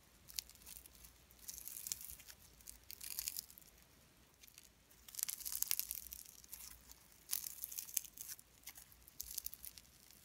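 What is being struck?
Slime mixed with shredded cellophane.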